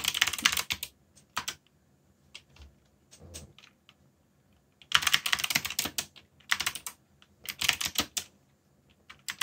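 Fingertips tap the keys of a backlit mechanical keyboard with black plastic keycaps while typing. Bursts of rapid, bright, clicky clacks alternate with brief pauses and a few scattered single keystrokes. Each click is short and dry, with almost no low end.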